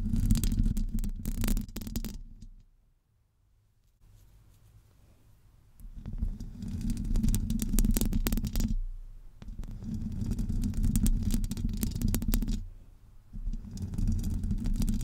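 Long acrylic nails scratch the hollow domed metal mesh grille of a Blue Yeti USB microphone while the fingers cup the grille. The result is dense, muffled, low rumbling scratches with bright crackle, broken by a near-silent pause early on and a brief dip near the end.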